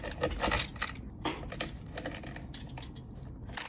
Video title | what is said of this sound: Chocolate Chickpea Bark | You can hear how crispy it is.